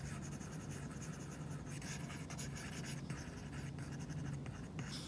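An Apple Pencil's plastic tip makes many quick scratching strokes and taps on a flat iPad screen covered with a matte plastic screen protector while coloring. The soft, dry scratches come in rapid bursts over a quiet, steady low hum.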